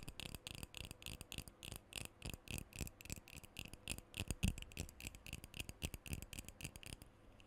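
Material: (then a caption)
Metal. A black metal aerosol deodorant can, about hand length, hollow and pressurized, is held close to the mic and tapped and scratched all over with fingernails. Quick, irregular taps with short, dry rings and a bright scratchy edge fill the clip, with one louder tap in the middle before the sound thins out near the end.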